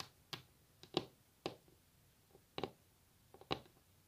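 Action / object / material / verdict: tap / wooden table top / wood / none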